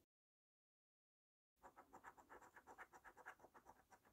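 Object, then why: Paper scratch card with latex scratch-off coating. A coin edge held in the fingertips scrapes the latex scratch-off coating from a thin cardboard paper scratch card lying flat on a table. After about a second and a half of silence, short scratching strokes come in a steady rhythm of roughly four per second. The strokes are dry and papery, centred in the midrange with a light bright hiss.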